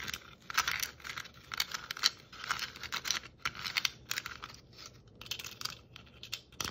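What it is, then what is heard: Plastic Christmas ornament ball. Long nails tap across the stripes and metal cap of a hollow red and white striped plastic Christmas ornament ball. The result is a quick run of bright, clicky taps mixed with dry, scratchy rustling. There is almost no low end, and each tap stops almost instantly.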